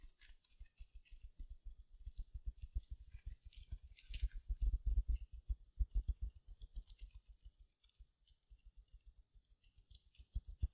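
Long nails scratch the mesh surface of a small silver, glitter mesh-wrapped foam sponge. The result is rapid, irregular scratching strokes, each a soft low thump with a faint bright crinkly hiss. The strokes are loudest in the middle and quieter near the end.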